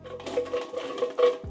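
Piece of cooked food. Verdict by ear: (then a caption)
Crisp. A piece of cooked diet food is tapped and knocked several times, giving short, hard, hollow clicks with a woody tone around 490 Hz. The sharp, dry knocks show that the food is crispy.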